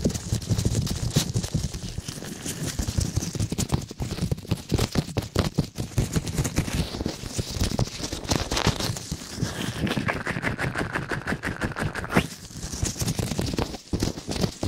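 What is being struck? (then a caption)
Soft silicone ear-shaped microphone covers. Latex-gloved fingertips rapidly rub and scratch both small, hollow, flexible silicone ear-shaped covers of a binaural microphone. The result is a dense, continuous stream of close, crackling scrapes and muffled thumps, heavy in the low end with little high brightness.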